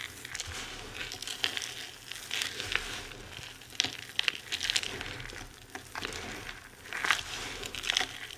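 Hands with long red nails squeeze and crush handfuls of loose, dry crumbled bar soap and small solid chunks on a white surface, rubbing the crumbs between the fingers. The result is a dense, bright crinkling crunch with sharp, quick crackles that stop almost instantly, over a soft, steady hiss.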